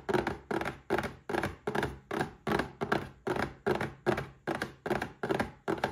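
Fingertips and short nails tap a small red cardboard gift box holding a Paladone Mario Kart glass. About sixteen soft, hollow, mid-pitched thuds land in a steady rhythm, each with a brief papery scratch that dies away quickly.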